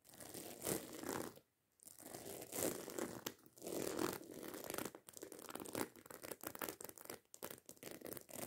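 Long nails scratch and tap quickly across the rows of small silver metal studs covering a hollow black fabric handbag. The result is a dense, bright, crinkly scratching with rapid light ticks, broken by a short silence near the start and ending in faster, choppier tapping.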